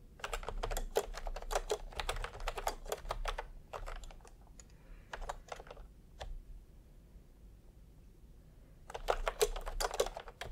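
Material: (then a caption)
Plastic. Bare fingertips of both hands type fast on a full-size pastel plastic retro keyboard with round plastic typewriter-style keycaps, resting on white fabric. Quick bursts of short, crisp clacky key presses run for several seconds, thin out to a few scattered taps, and fall quiet before a final dense flurry of typing, all over a low steady hum.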